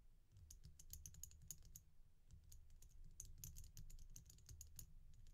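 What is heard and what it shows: Long nails tap and scratch the fronts of a red-black glossy oval resin bead stretch bracelet held upright in the hand. The result is a quiet, rapid run of dry, bright clicks that stop almost instantly, over a soft low rumble.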